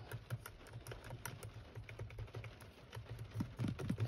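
Fingertips with short painted nails tap on the surface and along the edge of a Nissan steering wheel hub's large, textured, hollow-backed plastic airbag cover with a metal-look badge. The result is a quick run of soft, dull, low-pitched plastic taps that die away almost instantly.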